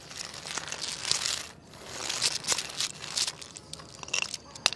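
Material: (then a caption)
Wood. A jointed wooden segmented crocodile wiggle toy is swished side to side by hand on a tile floor, its segments clattering. The sound is a dense run of bright, dry clicks and rattles with very little low end and no ring, swelling and fading in bursts with a short pause near the middle.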